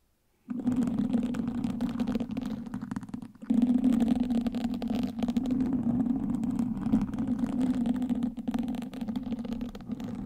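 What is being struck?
Foam microphone windscreen scratched with wooden sticks.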